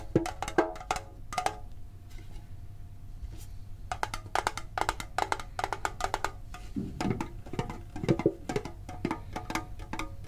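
A green printed hollow metal Pokemon card tin is held and tapped with the fingertips and short nails. Quick clusters of dry, tinny clicks alternate with pauses. Softer hollow thumps near 330 Hz join in during the second half, and each tap dies away almost at once.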